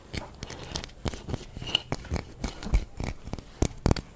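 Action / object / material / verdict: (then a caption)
tap / whole orange, citrus peel / citrus peel / none. A whole orange with a textured peel is held in the hands and scratched and tapped with long fingernails. The result is a rapid, uneven series of short, dry taps and scratchy clicks with soft low thumps and brief bright crackles. Each tap dies away almost instantly.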